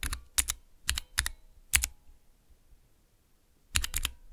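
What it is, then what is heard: Plastic mechanical keyboard switch tester. Fingertips press the keys on a small Cherry MX switch tester with clear plastic transparent keycaps, producing quick, sharp clicky-clacky mechanical switch presses with bright tops and a low thock. The presses come in short pairs and clusters, then a pause of near-silence before a final quick flurry.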